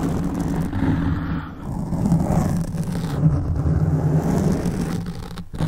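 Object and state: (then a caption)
Foam microphone windscreen being scratched. Both hands scratch a black foam windscreen on a large microphone with fingertips and short nails, the soft, porous foam sitting over a hollow capsule. The result is a steady, dense, low rumbling scrape with a faint hum-like tone, dipping briefly around the middle and again just before the end.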